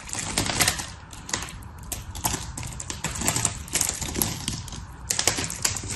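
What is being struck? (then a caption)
Soap shavings. Palms press into a pile of dry blue and pink soap shavings while fingers pick up and crush the brittle pieces. The result is a steady stream of quick, bright, crackling crunches that come in irregular bursts over a soft rustling bed, each snap dying away almost at once.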